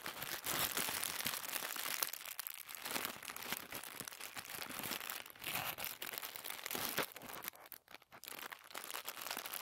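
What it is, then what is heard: Thin tissue paper being crumpled. A light, hollow, crumpled wad of white thin tissue paper (shoe-wrapping paper) is squeezed and crinkled between the fingertips of both hands. The result is a dense, steady stream of bright, crisp crackles with almost no low end and no ring after each rustle, with a brief quieter dip near the eight-second mark.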